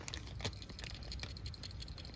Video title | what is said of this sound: 2013 Accord V6 PCV Valve | if you shake this, you should hear a little rattle